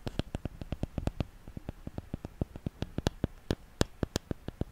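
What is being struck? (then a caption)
Wooden paddle hairbrush. Long nails tap and scratch the wooden body of a solid wooden paddle hairbrush with its bristles at the end. Around 26 short, dry taps come in a quick, uneven series over faint background hiss. Each tap is mostly a low knock with a bright tick on top, and each dies away almost at once.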